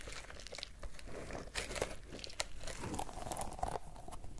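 A small yellow pineapple-shaped squishy stress ball with a green leaf top and a stretchy rubber skin filled with gel beads is squeezed and kneaded with fingertips. It gives a steady stream of soft, wet crinkling and crackling squishes, with sharper bright snaps and faint squeaky tones near 620 Hz. The sound is close and quiet, mostly low-heavy, with quick clicks that die away almost at once.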